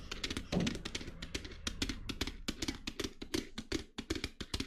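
Long nails tap and scratch the surface of a small black glitter-coated clutch bag held by its metal handle. The result is a fast, uneven run of crisp, bright scratchy taps and soft thunks over a low steady hum.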